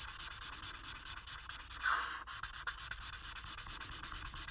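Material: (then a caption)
Paper. A marker tip held in the fingers colors a single flat paper coloring sheet with dense back-and-forth strokes. The result is a bright, scratchy, steady rubbing with rapid, slightly uneven stroke pulses and a brief louder swipe near the middle.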